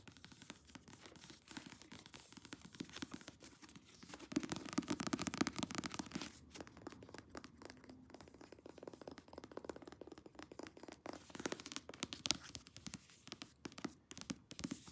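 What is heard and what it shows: Long nails scratch and tap quickly on the back cover and spine of a thick paperback novel lying in a lap. The result is a dense run of dry, papery scratches and soft clicks, with a louder, busier stretch of scratching partway through.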